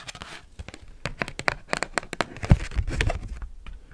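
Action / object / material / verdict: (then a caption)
scrape / large thin cardboard card / cardboard / none. Paperclips worn on the nails tap and scratch a giant, thin, flexible cardboard Pokemon trading card with a glossy holo front. The result is a fast, irregular run of sharp, dry clicks and crinkly scratches with very short decay. A low thump sits under some taps, and a few stronger hits land near the middle.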